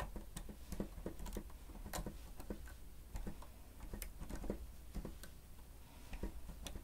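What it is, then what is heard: Plastic stenotype machine. Fingertips of both hands press and tap the keys of a grey plastic stenotype keyboard with a hollow housing while typing. Quiet, irregular, clock-like ticking clicks with short, dry thuds, weighted toward the low end. Each click is brief and fades quickly.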